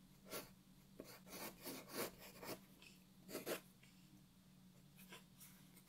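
A wooden graphite pencil held in the fingers rubs and scratches shading strokes across a flat white paper sheet lying on a wooden desk, while the other hand holds the sheet still. Short, bright, scratchy rasps come in uneven bursts over a quiet background with a faint steady low hum.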